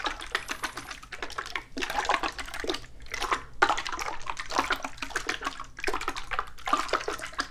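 A small, hollow, yellow-and-red printed antique metal tin, partly filled with liquid, is held in one hand and shaken so the liquid sloshes inside. The result is rapid bursts of wet splashing and sloshing with a bright, tinny metallic edge. Each splash cuts off quickly over a low, steady hum.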